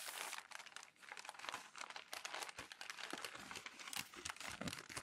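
Palms and fingers rub and smooth crumpled glossy magazine pages on a tall stack. A steady, quiet stream of bright, dry crinkling and crackling runs throughout, with short overlapping crackles and almost no low end.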